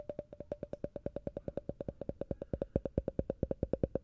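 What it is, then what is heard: Glass tumbler. A hollow, empty, clear faceted glass tumbler with a textured surface is held upside down and tapped with fingernails on its base and sides. About 38 quick, clicky taps follow in a rapid, slightly uneven rhythm, each with a short glassy ring around 520 Hz. The taps are quiet and clipped, fading almost instantly.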